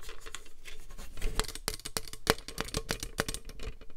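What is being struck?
Plastic paper trimmer.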